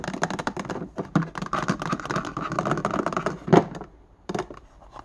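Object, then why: Plastic index card box. Fingertips and nails tap quickly on an open, empty index card box with a clear plastic base and a white plastic lid, resting on a wooden desk, striking the base and the inside of the lid. Dense, rapid hollow plastic clicks and knocks run for about four seconds, with a louder knock near the end of the run. The tapping then thins out into a few quieter, scattered taps.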